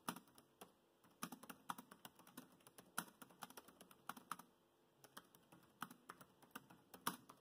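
Fingertips of both hands tap the black plastic chiclet keys of a grey laptop in continuous typing, producing about 35 short, dry clicks that come in bursts separated by brief pauses. Each tap is crisp and quick-decaying, with a faint steady tonal hum underneath.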